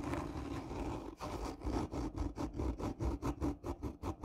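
Long nails of both hands scratch the top surface of a hollow, black textured cardboard gift tube. A continuous rasping scrape gives way to a quick, rhythmic series of separate strokes, each with a dull, hollow resonance and little bright content.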